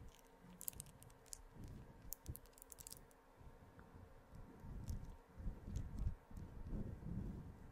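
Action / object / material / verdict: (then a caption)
scrape / synthetic fur microphone windscreen / synthetic fur / none. Long green-painted fingernails and fingertips scratch and brush a soft, grey, fluffy synthetic-fur windscreen covering the head of a white USB microphone. The result is a close, deep rustling and scraping, with brief bright clicky ticks early on. The rustling swells louder and heavier toward the end.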